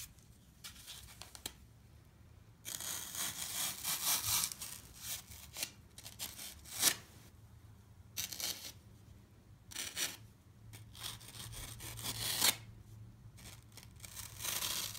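A solid block of green floral foam with holes, held in one hand, is sawed and scraped with a serrated knife blade. Bursts of bright, crisp rasping and scratchy crunching alternate with short sharp scrapes and brief quiet gaps, carrying mostly high hiss and little low end.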